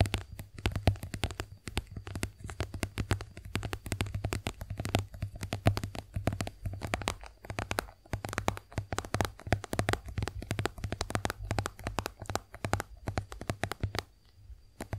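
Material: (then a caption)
Soft plastic. A white, soft plastic squeeze tube of face wash cream, hollow and partly filled, is held upright in both hands and tapped rapidly with long acrylic nails. The taps come as dense, quick flurries of sharp clicks over a low, hollow thump, with brief pauses between bursts. The sound fades softer near the end.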